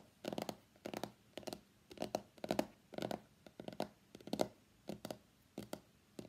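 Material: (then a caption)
Cardboard. Fingertips and nails tap across the back of a hollow white cardboard iPhone X box. The quick, dry taps come in short clustered bursts with brief quiet gaps between them. Each tap is a soft, hollow knock centered in the low mids around 600 Hz, with a faint papery brightness on top and almost no ring.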